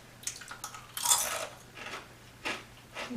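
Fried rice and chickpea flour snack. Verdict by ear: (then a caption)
Crispy. Deep-fried ribbon pakoda, a rice and chickpea flour snack, is broken or bitten, giving a series of sharp, bright crunches and crackles with the loudest burst near the middle. The crunch shows that the snack is crispy.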